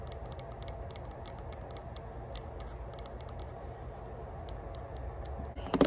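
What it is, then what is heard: Metal herb grinder tapped with fingernails. Long pointed burgundy nails tap quickly on the engraved lid of a small, hollow rose-gold metal herb grinder held in the hands. The result is a fast, irregular stream of light, bright clicks over a low, steady rumble, ending in a louder, fuller knock as the grinder is handled.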